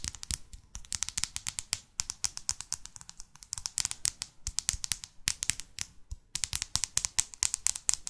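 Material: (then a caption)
Card, paper. Long fake nails rapidly tap the back cover and spine of a paperback New York guidebook. The result is a quick run of dozens of crisp, bright clicks with almost no ring, arriving in uneven clusters with brief pauses between them.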